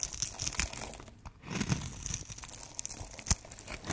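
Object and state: Dry bar soap being carved.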